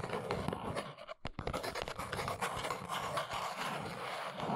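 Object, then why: Small cardboard box. Long nails tap and scratch the sides of a small brown cardboard box standing on its end on a rug. A dense, dry scratching rustle runs throughout, broken by a brief quiet dip before quick, sharp papery taps return. Steady scraping continues to the end.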